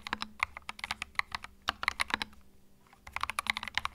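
Fingertips type continuously on a compact white mechanical keyboard with plastic keycaps, producing about 23 sharp, bright clacks with almost no ring. The keystrokes come in quick bursts, with a brief pause just before the typing picks up again.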